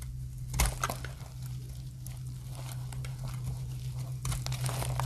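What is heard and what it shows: A metal blade shaves curling dry flakes from a solid translucent orange dry soap bar. Crisp, crinkly scraping bursts with bright edges rise and fall over a steady low hum.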